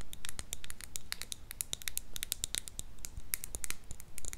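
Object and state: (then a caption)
Plastic bead-filled case tapped and scratched with nails. Long nails scratch and tap the surface of a small, clear pink, hollow plastic donut-shaped case filled with colorful beads. The result is a quick, uneven stream of bright, crisp clicks and scratchy ticks over a faint low rumble.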